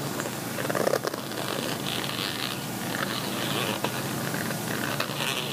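Fingertips and nails scratch the textured weave near the zipper of a gold, chevron-textured woven metallic fabric cosmetic zip pouch, which lies flat and is likely empty. The result is a steady, dry, bright scratching rasp with a soft, fuzzy texture and a few brief, louder crackles.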